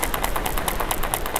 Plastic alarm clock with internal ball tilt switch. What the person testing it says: Трясущийся звук. Друзья мои, это не является браком.